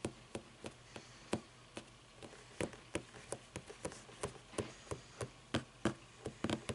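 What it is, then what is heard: Hardcover book tapped with nails. Long nails tap and scratch the cover edges and page block of a closed hardcover paper book standing on end. About twenty-two short, dry, quiet taps come at an irregular pace, each dying away almost at once. Soft scratching fills the gaps between them.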